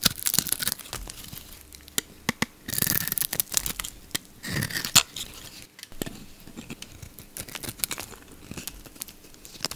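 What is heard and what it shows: A solid oval bar of soap with a blue coating and yellow inside, held in one hand, is shaved into thin curls with a utility knife blade. Dry, crisp scraping and tearing sounds come in quick, bright, crackly bursts, with sharp clicks between them and quiet gaps.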